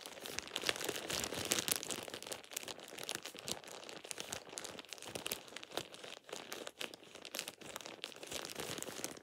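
A thin plastic shower cap is squeezed and crinkled in both hands with the fingertips. It makes a steady stream of dense, bright crackling and crinkling with very little low end. The crackles come in quick, sharp bursts that rise and fall in loudness throughout.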